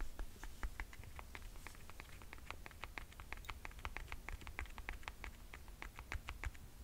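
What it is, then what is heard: Leather-strapped sandal with rubber sole. Long painted nails rapidly tap and scratch a chunky platform sandal with black and silver leather and metallic straps and a ridged white rubber sole, working along the straps and the sole edge. It makes quiet, crisp, bright clicks in a quick, uneven patter over a low, steady rumble.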